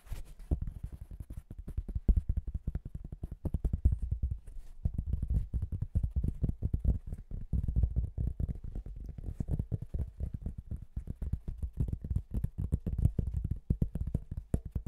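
A thin, marbled flat cork tile, held upright close to the microphone, is tapped rapidly with the fingertips and nails of both hands. The result is a continuous stream of soft, dull, low thuds with almost no ring, concentrated in the deep bass.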